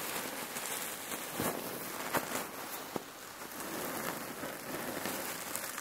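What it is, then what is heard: Cloth pillow filled with cherry pits. Hands press and squeeze a red patterned cotton neck warmer pillow filled with cherry pits, resting on a wooden table, using fingertips and nails. The pits shift with a steady, dense, rain-like rattling crackle and bright hiss, broken by a few sharper clicks.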